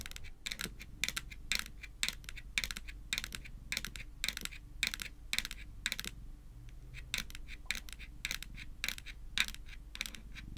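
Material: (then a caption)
Plastic. Long nails tap rapidly on a small, flat, hard-shelled white plastic Hello Kitty power bank lying on a table. The result is a steady run of sharp, bright clicks that die away almost instantly over a low background hum.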